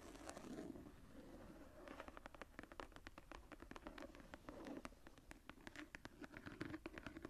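Long nails tap and scratch the floral relief on the tooled, embossed leather cover of a journal that is lifted and held at an angle. A quick, uneven run of many sharp, bright clicks rides over a soft, low scratchy rustle, with short bursts of faster tapping.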